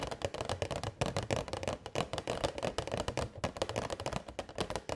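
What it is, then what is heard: Plastic box tapped with nails. A transparent, hollow, rectangular plastic box holding purple LED fairy lights is held in both hands and tapped with long white nails. The result is a fast, steady stream of short, dry, hollow clicks with a mid-range body and almost no ring.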